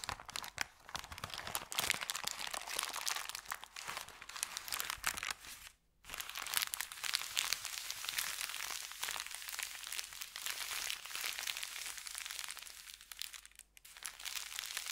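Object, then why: Thin kraft paper bag. An empty, thin kraft paper bakery bag is crumpled by hands, then pressed and smoothed flat. A dense, bright crinkling and crackling runs throughout, with almost no low end and a brief near-silent gap around six seconds before the rustling resumes.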